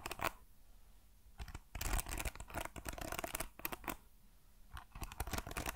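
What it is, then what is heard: Wooden hairbrush with metal pins. Fingertips strum and scratch across the dense metal pin bristles of a hand-sized hairbrush with a wooden paddle, held in one hand. Bursts of quick, bright, rattling scratches alternate with short quiet pauses, with a dry, clicking texture and no ringing afterward.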